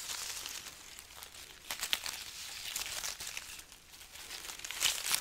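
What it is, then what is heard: Dried chili peppers, crinkled. A strand of dried, papery red chilies from a chili pepper garland is held close to the mic and scratched and crinkled with long nails. The result is dry, bright crackling and rustling, mostly high in pitch, with sharper snaps standing out near the start and end.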